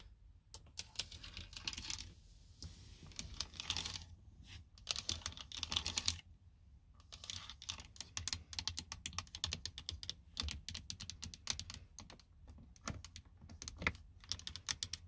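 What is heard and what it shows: Long blue nails tap and click across a plastic car door window switch panel on the armrest, hitting its plastic buttons and trim. Rapid, crisp, bright clicks arrive in dense bursts separated by short pauses, each click dying away almost instantly over a faint low hum.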